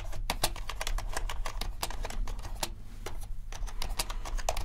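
Both hands type with their fingertips on a compact, around 65%, mechanical keyboard with a dark case and black and white plastic keycaps. A rapid, uneven stream of short, bright key clacks plays over a steady low hum, with a brief lull just past the three-second mark before the typing picks up again.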